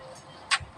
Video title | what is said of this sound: Penerapan Fisika dalam Keperawatan | diketuk kembali, sehingga suara tersebut terdengar di bagian belakang